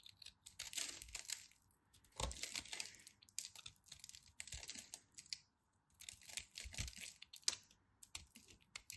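A craft knife carves into a crumbly, dry, solid chunk of cream soap held in the hands, crushing it into powder. Quiet, bright, crisp crackling and scraping bursts come in short clusters, separated by brief pauses.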